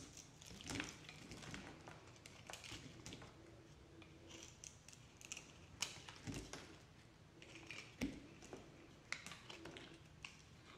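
A yellow-handled box cutter blade scrapes and shaves flakes off a hand-sized solid blue bar of soap with a pale green core, held in one hand. Dry, bright scratching strokes crackle in quick bursts with sharper clicks, over a quiet background.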